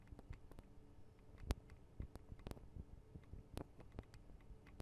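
Long acrylic nails tap on the small hollow metal and plastic mic capsules and guards of a Tascam DR-40 recorder. Quiet, short, dry clicks and taps come in an irregular patter over a low hum, each dying away almost instantly.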